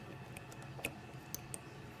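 A finger taps the plastic vertical stabilizer of a 1:500 Herpa Wings Vietnam Airlines Airbus A320 die-cast model, a plastic part unlike the die-cast fuselage. A few light, short, high-pitched ticks sound over a quiet low hum, each dying away almost at once with a thin plastic click rather than a metallic ring.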